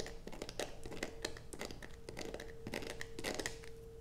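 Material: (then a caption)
Soap. Long acrylic nails scrape a solid blue bar of soap resting on a black plastic sheet. The result is a quick series of scratchy, crinkly strokes with bright edges over a steady faint hum.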